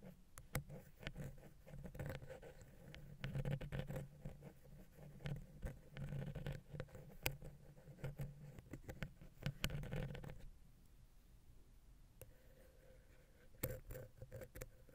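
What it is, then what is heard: Wooden pick tapping a metal microphone capsule. A wooden ear pick taps and scratches the silver metal X/Y microphone capsules on a Zoom H6 and the gap between them. The result is a steady patter of dry, close, low-heavy ticks with a hum near 133 Hz, and a few brighter sharp clicks. The activity eases to a quieter stretch near the end before several more taps.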